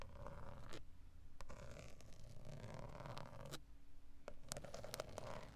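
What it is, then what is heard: Plastic steering wheel airbag cover, hollow. Long acrylic nail tips scratch and tap the textured black plastic centre pad of a VW steering wheel, a large hollow airbag cover. Soft, dry scraping runs throughout, broken by sharp, quick clicks with a faint hollow tone, all over a low, steady rumble.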